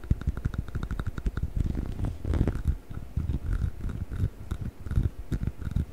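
Fingertips and nails scratch along the textured surface of a hollow yellow rubber chicken toy held horizontally close to the mic. The result is a steady run of quick, dry scratching strokes with a deep, rumbling, purr-like low end and faint brighter rasps on top.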